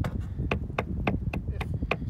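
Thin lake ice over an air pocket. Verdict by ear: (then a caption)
Hollow. A slightly raised, domed white patch of lake ice, a bubble of very thin ice under half an inch thick over an air or gas pocket, is tapped seven times in steady succession. Each tap gives a short, hollow knock with a brief bright ring over a low background rumble. The ice sounds hollow and would not support a skater.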